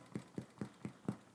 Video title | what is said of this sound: Spelt Bread with Fresh Milled Grain - Ancient Grain Bread | sounds Hollow that's how you know it's done